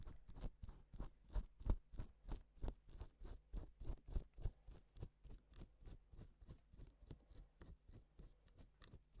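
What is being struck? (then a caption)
Plastic sequin fabric. A gloved fingertip strokes a flat, reversible pink and silver plastic sequin fabric sheet, flipping the sequins. About thirty soft, quick, scratchy swishes follow each other at roughly three per second, each with a short dull thump and a faint bright rustle. The strokes gradually grow quieter toward the end.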